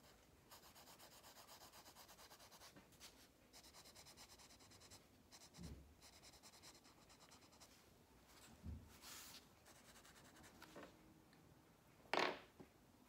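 A wax crayon held in the fingers is rubbed back and forth on an open paper coloring book page lying flat on a table, coloring it. Quiet, steady, rhythmic scratchy strokes with a bright papery hiss continue with short pauses, broken by a few soft low bumps and one sharper, louder scrape near the end.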